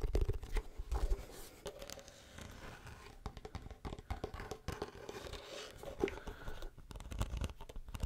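Fingernails tap and scratch the face of a hollow wooden folding chessboard box held close, then move to the edges of the closed box. Many quick, soft, dull knocks mix with dry, crinkly scraping, each tap dying away at once with no ring.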